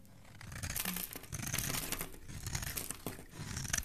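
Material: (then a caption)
Soap. A solid pink Saloon bar soap, held in a hand with lilac-nailed fingers at its ends, is shaved with a metal blade. The close, dry scraping and crinkling strokes come in uneven bursts, with bright, crisp edges over a soft low rumble. The strokes overlap too much to count.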